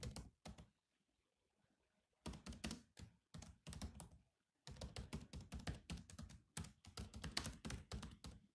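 Fingertips of both hands rapidly tap the black plastic chiclet keys of a silver laptop with a hollow body, producing bursts of quick, dull, thunky clicks that die away almost instantly. A short opening flurry is followed by a quiet pause of over a second, then a longer run of typing, a brief break, and steady continuous typing to the end.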